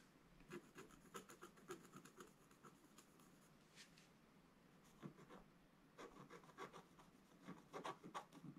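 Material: Coated paper.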